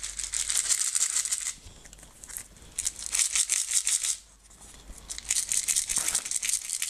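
A clear plastic jar with a white lid, nearly full of green and blue decorative stones, is shaken by hand so the stones rattle inside. Three bursts of bright, dense, hissing rattle are separated by short quieter pauses, with almost no low end.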